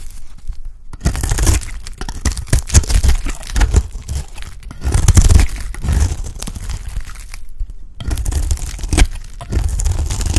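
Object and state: Dry soap bar, scraped.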